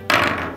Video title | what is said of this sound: 한국인이 개발한 냉면용 차가운 버너 ㄷㄷ | 딸기에서 도자기 소리가 나는데요